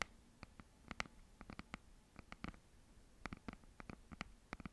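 A red hardcover notebook is held flat in both hands while long nails tap and scratch its cover. Quiet, quick, dry clicks with almost no ring come in an irregular run, along with light scratching.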